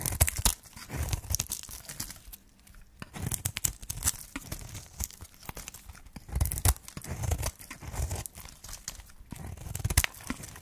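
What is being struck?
Bar of soap scraped with a metal blade.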